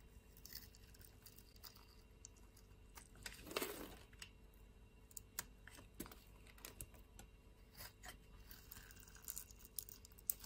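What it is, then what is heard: Soap bar being scraped. A blade with a teal handle scrapes cubes and curls off a solid brown soap bar held in the hand. The result is quiet, dry crunching and crisp ticks with a bright edge, and one louder rasping scrape about a third of the way through.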